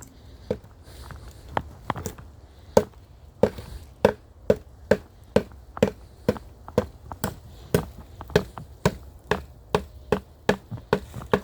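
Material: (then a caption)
Wood. A termite-infested wooden bench is struck again and again to find the eaten areas by their hollow sound. About thirty short, dry, hollow knocks come in a steady rhythm, each with a tone near 420 Hz and almost no ring. The wood is found to be eaten through.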